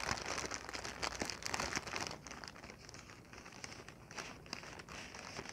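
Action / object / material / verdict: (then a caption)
scrape / inflated plastic packing air pillow / plastic film / none. A clear, hollow, air-filled plastic air-cushion packing pillow is held in the hands and crinkled and scratched with long painted nails. It makes dense, bright crinkling and crackling, louder for the first two seconds and then softer with scattered sharp crackles.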